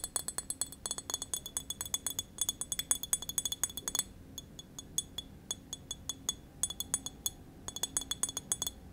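A small, apparently full green glass wine bottle with a paper label is held in hand and tapped with long nails. Rapid bursts of about fifty bright, clicky clinks, high-pitched with very little ring, come in quick runs separated by short, softer pauses.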